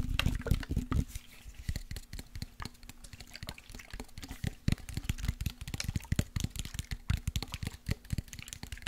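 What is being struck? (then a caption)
Glass spray bottle with liquid. A partly full clear glass body mist bottle of orange body spray with a silver cap is tapped with fingertips and nails and shaken side to side. Quick, irregular taps and clicks come in dense bursts, with low knocks and bright clicks over soft sloshing liquid.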